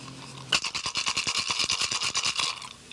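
A turtle shell rattle filled with small pebbles is shaken with its mouth held closed. It gives a fast, bright, dry rattling that starts abruptly at about half a second and runs for roughly two seconds. The amount of pebbles is correct and the rattle sounds right.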